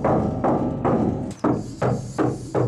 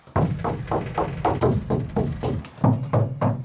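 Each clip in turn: First: Seven hollow, drummy knocks on bare sheet steel, each booming briefly; the panel is undamped and resonant. Second: About a dozen dull, low knocks on a taped steel van panel; each thud dies almost at once.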